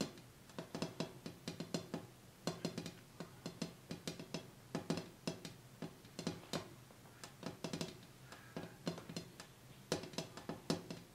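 Quick fingertip taps on the bare glass top of a glass coffee table, cleared of the items that were on it, to hear whether the sound changes. The taps fall in fast irregular clusters, each a short bright tick over a low resonant thump that dies away almost at once.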